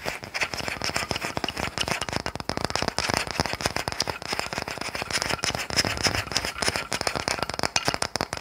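A small, solid, unfinished wooden toy car, held in the hand, is tapped and scratched with long nails. Rapid, dry, bright clicks and scratchy crackling run continuously, with little low end and almost no ring after each tap.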